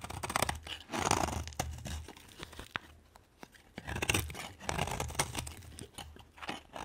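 A solid green bar of soap, held in the hand, is carved with a metal knife blade that scrapes and shaves curls off its surface, with the shavings piling up nearby. The clip is a run of dry, crunchy scraping and crisp shaving strokes with bright, short bursts and a low rumble underneath, separated by brief quiet pauses.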